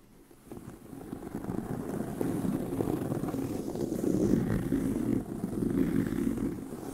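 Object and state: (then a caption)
Leather handbag scratched. Fingernails scratch the upper surface of a tan pebbled leather handbag with a hollow body. The result is a dense, rough, low-mid scratching texture that swells in after about half a second, holds steady, and briefly dips near the five-second mark.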